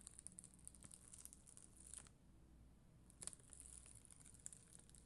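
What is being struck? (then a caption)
Acrylic gem sticker sheet scratched with a bristle brush. A black mascara spoolie, held by long green nails, scratches across a flat, solid sheet of red and clear acrylic rhinestone gem stickers. The result is quiet, bright, crinkly scratching with many tiny ticks over a steady low hum, easing off briefly in the middle before resuming.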